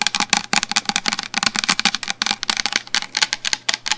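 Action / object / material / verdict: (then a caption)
tap / plastic shampoo bottle / plastic / none. A medium black plastic shampoo bottle, held upright in front of the microphone, is tapped continuously with long fingernails. It produces a rapid, irregular stream of about 23 sharp, bright clicks with a hollow plastic tone around 2.6 kHz. Each tap dies away almost instantly, with very little low end.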